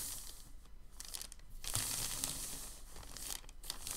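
A large, thin white sheet of crumpled packing paper is rubbed flat under the palms, then gripped and lifted by its top edge. The result is a dense, bright crinkling and rustling that swells louder midway and continues unevenly to the end.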